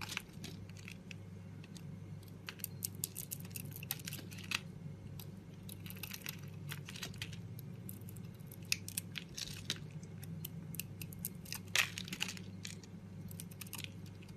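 A solid bar of soap with a red outer layer and a green core is held in a hand with long pink nails while a metal blade scrapes and carves flakes off it. Dense, crisp scraping and crackly flaking sounds fill the clip, layered over a steady low hum.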